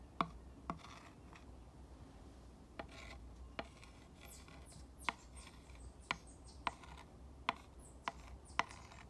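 A glass rod tip is traced along the letters and over the grooves of a green painted three-slat wooden sign, making a soft, continuous scratchy rubbing. About ten short, sharp ticks stand out as the tip crosses the slat grooves, over a faint steady low hum.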